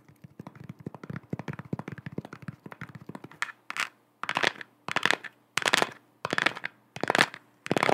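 Long acrylic nails tap rapidly on the hollow plastic shell of a lit, head-sized round galaxy-print sphere lamp held in both hands, making quick, light, dry clicks. About halfway through, the taps give way to seven separate longer, bright, scratchy strokes across the shell, with short silences in between.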